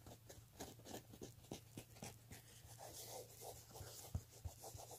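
Fingertips and nails scratch along the edge of a black woven-fabric clutch handbag. Quiet, rapid, irregular rasping strokes are heard over a steady low hum, with a few sharper scrapes standing out near the end.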